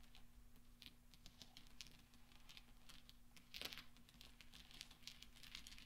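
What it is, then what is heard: Steel pachinko balls. Fingertips and nails rattle and clink a pile of small solid steel pachinko balls resting on black velvet. Quiet, rapid, bright metallic ticks and clinks patter throughout over a steady low hum, with a brief louder cluster of clinks just past the midpoint.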